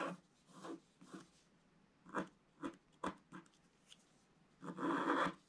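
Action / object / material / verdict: scrape / wax-coated scratch art paper scratched with a wooden stylus / wax, paper / none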